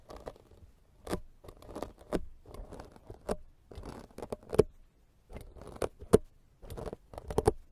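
A fist-sized, soft, porous black foam microphone windscreen is scraped repeatedly with the serrated metal blade of a green plastic vegetable peeler held in the fingers. Short bursts of dry, scratchy rasping come in uneven strokes separated by brief pauses, punctuated by sharp clicks.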